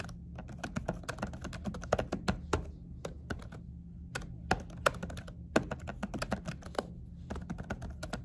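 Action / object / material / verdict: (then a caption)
tap / laptop keyboard under a silicone cover / silicone / none. Two hands type quickly with fingertips and short nails on a laptop keyboard covered by a dark silicone keyboard cover. The result is a rapid run of short, muffled, dull taps with very little ring, over a faint steady low hum, with a few brief pauses between bursts.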